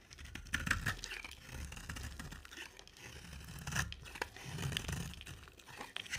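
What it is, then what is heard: Bar of soap being shaved. A utility knife blade scrapes and shaves an oval, solid green bar of soap with a black glitter rim, held in the hand. Dry, crackling scraping and tearing sounds run continuously, with quick bright ticks and brief tonal glints around 1.6 kHz over a soft low rumble.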